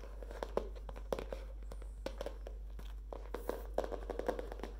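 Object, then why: Spiral-bound paper notebook with cardboard cover. Long painted nails tap and scratch the green palm-leaf printed cardboard cover, edges and metal wire spiral of a medium spiral-bound paper notebook with a hardcover, held up in hand. Dozens of quick, dry clicks with a mid-pitched knock ride over soft rustling and a steady low hum.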